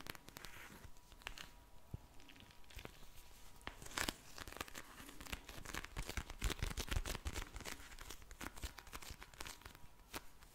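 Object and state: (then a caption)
Plastic gel bead eye mask. A pink soft plastic eye mask filled with gel beads is held in the hand, then squished and tapped with long nails and fingertips. Irregular crinkly, crunchy, tearing-like plastic sounds come in dense, quick bursts, with sharp taps and soft squishing beneath them. Nearly every sound stops short, with no ringing.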